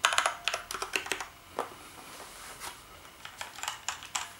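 Both hands tap the keys of a black plastic gaming keyboard resting on a bed with their fingertips, typing. Quick bursts of sharp, bright plastic clicks die away almost instantly. The typing pauses through the middle of the clip and then resumes with scattered taps.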